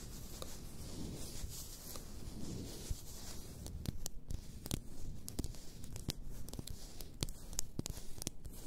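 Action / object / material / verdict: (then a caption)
scrape / glass bath salt bottle / glass / none. Long nails scratch and rub along the sides of an upright, full glass bath salt bottle, making a steady, dry, scratchy rasp that is mostly low with faint bright hiss. About halfway through, the rubbing gives way to a run of quick, sharp, bright clicks that stop instantly, scattered over a continuing soft scratch.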